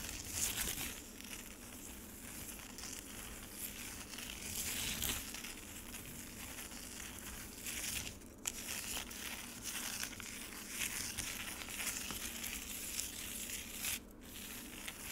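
Long nails on both hands scratch across a solid frozen lemonade slab with scattered ice shavings, sitting in a black rectangular plastic tray. The result is a steady, bright, crackling scrape with brief louder swells as the nails drag over the ice.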